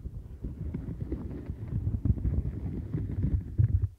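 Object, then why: Silicone bristle mat. Long nails scratch the center nubs and then the upper rim bristles of a light-blue domed silicone mat. The result is a dense, muffled, low-heavy rustle of rapid scratchy taps. It grows louder in bursts toward the end before fading out.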